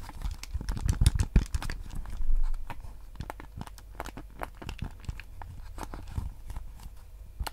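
Fingertips tap and scratch the hollow hard plastic shell of a white PS5 DualSense controller held in both hands. Quick, irregular clicks and rubbing scrapes carry a deep low thump, with bright, very short ticks on top. The sound is louder and denser in the first few seconds, then settles into softer, scattered taps.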